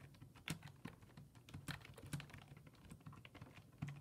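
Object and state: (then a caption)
Plastic computer keyboard. Fingertips rapidly type on a black plastic full-size desktop keyboard with low-profile keys resting on a wooden desk. The result is a quiet, steady stream of quick key clicks, each with a soft low thump and a brief bright tick. Occasional louder presses stand out, and each click fades fast.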